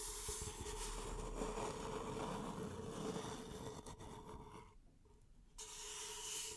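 Long nails scratch and rub the side of an empty, hollow beige paper cup held in both hands. The result is a steady, dense rasping with a faint hollow tone running through it. The sound drops to a near pause just before the end and then picks up again.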